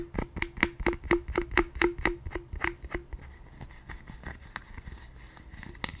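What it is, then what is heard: Silicone scalp massager brush. Long nails tap rapidly on the hollow handle side of a pink silicone scalp massager brush, giving short hollow knocks with a low ringing tone over the first three seconds. Softer scratching and rubbing follow as the brush is turned in the hands, with a few light clicks and one sharper tap near the end.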